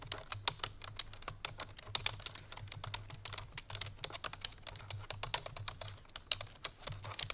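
Fingertips and painted nails of both hands type quickly on a full-size black plastic computer keyboard resting on a white fur rug. Dozens of sharp, bright, clicky keystrokes tap out in an uneven, rapid run. Each click is short and dry over a faint low hum.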